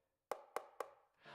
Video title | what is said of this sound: Reimangining Famous Comic Book Cover: Uncanny Xmen 135 part 12 | The whole body feels a little plasticky and sounds hollow when you tap on it